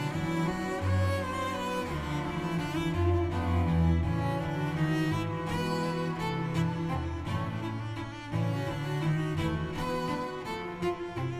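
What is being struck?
Nothing is struck.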